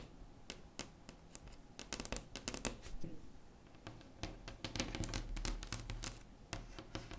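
Long acrylic nails tap and scratch across a large, solid, flat wood-grain tabletop. They make a quick, irregular run of sharp clicks with bright tops over a low, dull body. Each tap stops almost at once, between soft scraping sounds.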